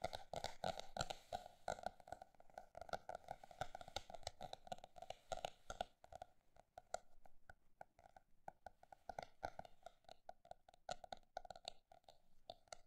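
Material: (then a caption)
Paper. A paper notebook is tapped with quick, irregular taps, first fast and dense, then slower and more spaced out after a brief lull around six seconds. Each tap is short and dry, with a hollow midrange tone near 700 Hz.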